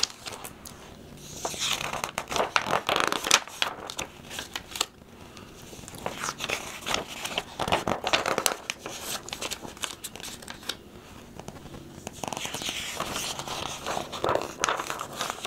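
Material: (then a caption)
Coated paper. A thick printed catalog of heat-transfer vinyl products with glossy coated paper pages is held open while fingertips turn and flex the pages. The result is crisp, bright rustling and crinkling in uneven bursts, with sharp page snaps over a quiet background.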